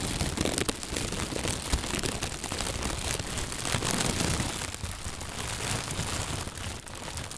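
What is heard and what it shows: A thin white plastic bag, first gathered at the handles and then inflated and hollow, is crumpled and squeezed with the hands and fingertips. It makes a continuous, dense crinkling rustle with a bright crackle over a soft low rumble. The level stays steady, dipping only slightly near the end.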